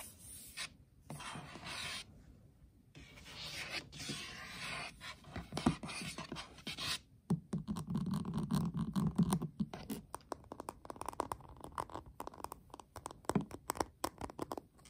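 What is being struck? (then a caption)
Flat metal tin palette. Short nails tap and then scratch the pink lid of a flat, hollow metal tin eyeshadow palette, recorded close up. Dry, raspy scratching rubs across the lid alongside quick, irregular hollow taps with a short, low metallic ring.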